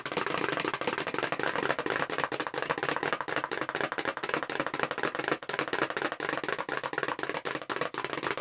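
Long pink nails tap fast on the front of a long, narrow, hollow light-blue paperboard makeup brush box held horizontally in both hands. The result is a dense, steady stream of quick, dry, papery clicks with a hollow mid-range knock, almost no low end, and very little ring. There is a brief dip in the tapping around the middle.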